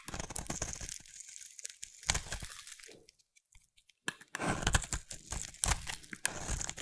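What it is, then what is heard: Bar of soap being carved. A utility knife blade carves curls from a solid light blue bar of soap held in the hand, producing crisp, crackly scraping and crunching strokes. The shaving goes quiet for about a second midway, then resumes with denser, brighter cutting.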